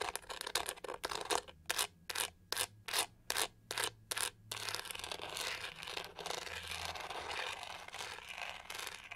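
Long nails scratch across the pink studded back of a hollow plastic hair brush, making bright, raspy scrapes. Quick strokes give way to a run of distinct, evenly spaced strokes with short gaps between them. The sound then settles into continuous, denser scratching.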